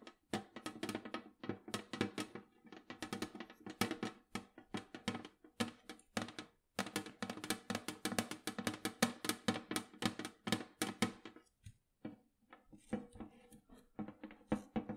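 A large, round, hollow metal cookie tin, held up in both hands, is tapped on its lid and rim with long acrylic nails. Quick, bright clicking taps come in rapid bursts, each with a short hollow metallic tone that dies away almost at once. There are brief pauses near the middle and toward the end, and the last stretch turns lighter and more scattered.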